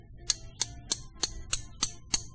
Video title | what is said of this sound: Bullet Casting: Separating Wheel Weights | you do the same thing with zinc has a much higher higher pitch